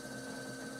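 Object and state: Nothing is struck.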